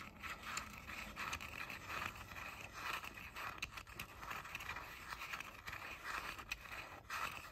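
Fingernails scratch and scrape along the rims and outer shells of the hollow ear cups on pink plastic JBL over-ear headphones. The result is a steady, bright, gritty plastic scraping in repeated strokes, with sharp clicky ticks scattered throughout and little low end.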